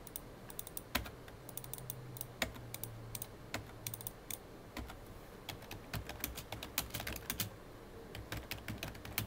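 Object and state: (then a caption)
Plastic computer keyboard being typed on. Fingertips of both hands type fast on a full-size, hollow black plastic computer keyboard. Sharp, bright key taps come in quick, uneven bursts, with a few harder strikes standing out. A steady low hum sits underneath throughout.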